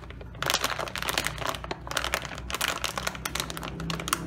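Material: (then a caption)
Metallized plastic. Both hands hold a sealed, full, medium-size Doritos Taco tortilla chip bag made of crinkly metallized plastic film, puffed with air, flipping it over and rubbing and pressing its surface with the fingertips. After a quiet start, a dense run of bright, sharp crinkles and crackles begins, rising and falling in quick irregular bursts over a faint steady low hum.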